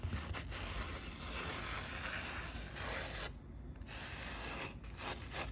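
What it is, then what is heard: Sand-covered painting card being rubbed. Fingertips with long painted nails rub and pat across a postcard-sized sand painting card, coloured sand on a sticky adhesive board held flat in one hand. The result is a steady, gritty, broadband scratching hiss with a low rumble underneath, dipping into a brief quieter pause just past the midpoint before the rubbing resumes.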